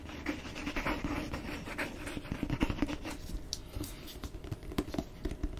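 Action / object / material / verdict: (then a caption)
scrape / cloth-bound hardcover book cover / cloth, board / none. Fingernails scratch and tap the cover of a solid red cloth-bound hardcover book with a gold-stamped cover, held close. The result is a steady run of dry, soft scratching broken by quick light taps, each dying away almost at once with a dull low-mid knock.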